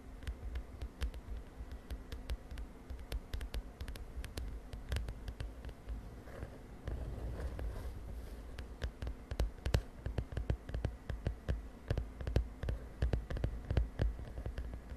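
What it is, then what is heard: Plastic notebook cover. Long nails tap rapidly on the lilac plastic cover of a spiral notebook, making short, dry clicks with bright ticks that die away almost instantly. A steady low hum sits underneath. Around the middle, a softer rustling stretch comes in, and then the taps return, louder and more spaced out.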